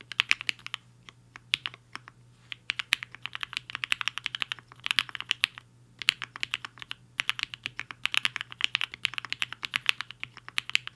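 A compact mechanical keyboard with a black case and white and pink plastic keycaps, resting on a desk mat, is typed on quickly with the fingertips of both hands. A fast, uneven stream of short, bright clicky keystrokes with no ring comes in bursts separated by brief pauses.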